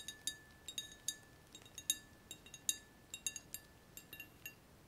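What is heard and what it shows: A hand-sized, hollow and empty clear glass round-bottom flask with two frosted ground-glass necks is held and tapped with fingertips and nails. About eighteen quick, bright, high glassy clinks come at an irregular pace, each dying away almost instantly, over a faint steady tone.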